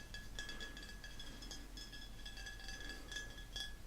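A glass bottle of elderflower sparkling pressé is tapped repeatedly, giving a steady run of light, bright glass clinks with a ringing tone around 1.7 kHz over a low background hum.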